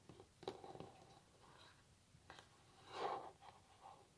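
A solid varnished wooden tabletop is tapped with long natural nails. Quiet, scattered clicky taps have a hollow midrange tone, bright nail clicks and almost no ring, with a fuller, louder tap near the end.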